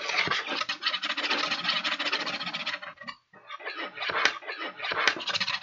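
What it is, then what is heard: Paper bag scratched. A small red-handled tool scratches the surface of an empty, hollow kraft paper bag with blue print, held up in one hand. The result is dense, bright, papery scratching that briefly stops just after the three-second mark, then resumes with a few sharper, crisper strokes.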